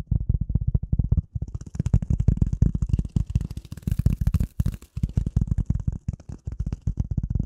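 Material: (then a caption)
Polyethylene foam. A rectangular gray polyethylene foam sheet, held over and in front of the microphone, is tapped and scratched with the nails of both hands. Rapid, dense, deep thuds with a low pitch come in continuous bursts, while a faint bright scratchy hiss rides above from about two to seven seconds.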